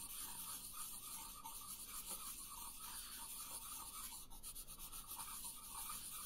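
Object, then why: Wooden colored pencil on a paper sheet. A green wooden colored pencil is rubbed in light coloring strokes across a thin paper coloring sheet resting on a wooden table. The result is a quiet, steady, scratchy rasp with bright, hissy grain and a faint mid-range whisper running the whole time.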